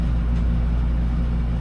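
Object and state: Nothing is struck.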